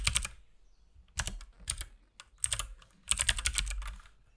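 Fingertips of both hands type on a compact RGB-backlit mechanical keyboard with plastic keycaps and a hollow case. Short bursts of key presses come in clusters separated by brief pauses. Each press is a bright, clacky tap over a low, hollow thump that dies away almost instantly.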